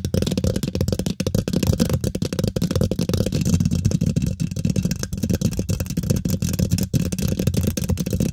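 Long nails and fingertips from both hands scratch and tap quickly on the domed, hollow woven metal mesh grille of a large silver condenser microphone. A dense, continuous scratchy rattle with a heavy low rumble is peppered with rapid short taps that barely ring.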